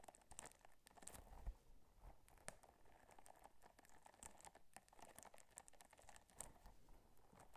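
Long nails scratch and rub the bumpy surface of a small pink textured silicone or rubber scrubber held in one hand. The result is a quiet, steady stream of dry, crinkly scratching with many quick, sharp ticks and a faint low rumble underneath.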